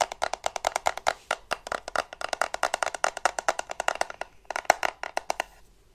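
Painted fingernails rapidly tap and scratch the casing of a small, solid black plastic desktop USB charger held in the hands. Roughly forty crisp, dry clicks come in a quick, uneven run with almost no ring, bright and hollow-sounding around the midrange, with a brief gap near the end.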